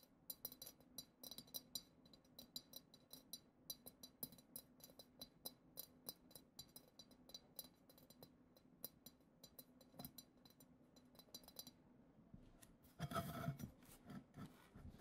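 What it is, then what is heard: Glass goblet tapped with fingernails. Long acrylic nails tap and scratch the lower bowl and glitter-textured surface of a hollow, clear, glitter-decorated glass goblet. The result is a steady run of quick, bright clicks and clinks with very short ring over a soft low hum. Near the end, a louder burst of denser scratching takes over.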